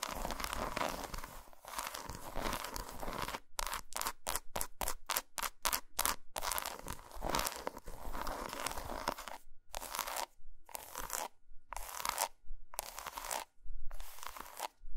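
Long almond-shaped nails scratch and tap across a solid six-square piece of dark chocolate with a ridged, textured surface, lying on a carpet beside two untouched broken-off pieces. Dry, crinkly scratching runs continuously at first, then breaks into a quick series of short, separated bursts. Steady scratching returns before ending in longer bursts spaced apart by brief silences.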